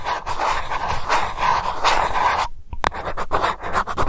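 Long nails scratch the silver metal lid of a small glass candle jar, across its surface and around its rim, making a steady raspy scratching with a metallic tone around 1 kHz. The scrape breaks off briefly with a sharp tick, then returns in shorter, choppier strokes.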